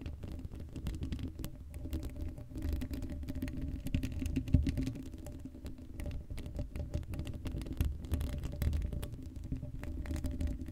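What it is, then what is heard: Metal mesh microphone grille being scratched. Long blue acrylic nails on both hands scratch across the hollow black woven metal mesh grille of a Blue Yeti microphone head, with no foam cover. The result is a continuous, dense scratching patter that sounds low and rumbling, with a steady hum and brief louder scrapes scattered throughout.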